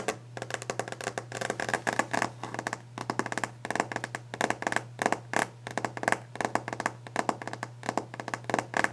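Long glitter nails tap rapidly on the solid, polished top of a varnished wooden desk, making a fast, irregular stream of short, dry clicks with a bright edge. The taps die away almost instantly. A steady low hum runs underneath throughout.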